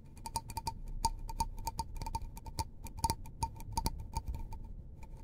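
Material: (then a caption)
Paper. Fingertips tap along the side of a small, hollow, empty white disposable paper cup held in the hands. About twenty quick, light, dry taps each give a brief hollow tick with a faint ring near 900 Hz and a bright top. Soft low background noise sits underneath.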